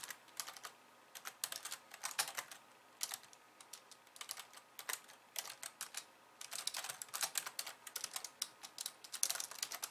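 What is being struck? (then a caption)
Plastic computer keyboard. Fast two-handed typing with long nails on a pink plastic slim keyboard with white keys. Quick bursts of light, bright, crisp key clicks come in flurries with brief pauses. Each tap is sharp, dies almost instantly and carries no low thump.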